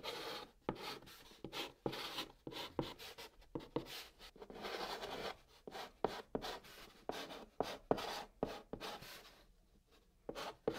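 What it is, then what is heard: Chalk writing on cardboard. A white chalk stick writes line after line of text on a flat brown cardboard box surface. Quiet, dry scratching and rubbing strokes are punctuated by sharp little taps as the chalk touches down. The strokes are bright and papery, with almost no low rumble.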